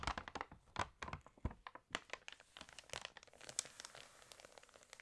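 Fingers rub, lift and turn the pages of an open, water-damaged glossy paper fashion magazine. Dense, dry crinkling and crackling come in quick bursts with a few sharper snaps near the start, then ease into a softer, steady rustle. The sound is bright and papery with no ringing tail.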